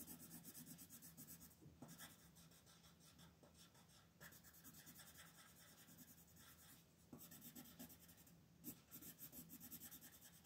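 An orange colored pencil shades a thin paper coloring page resting on a table in repeated back-and-forth strokes. The result is a quiet, continuous scratchy rubbing with a bright, papery rasp that rises and falls with each stroke, with a few slightly louder strokes near the end.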